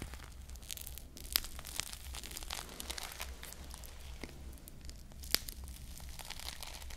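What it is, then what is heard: Foam squishy toy with plastic bead sprinkles. A hand-sized foam squishy ice cream bar on a wooden-look stick, its soft foam body coated with small glued plastic bead sprinkles, is held in one hand and squeezed and scratched with long painted nails close to the mic. It makes a steady, dense crackling and crinkling scratch over a low hum, with two sharper bright clicks standing out.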